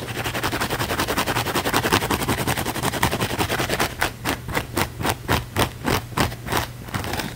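Fingernails rapidly scratch a thick, layered, palm-sized blue foam sponge held in the palm, producing dense, rough, bright scratching. For about the first four seconds the strokes blur into a continuous rasp, then they slow into about eight distinct, separated strokes. A steady low hum runs underneath throughout.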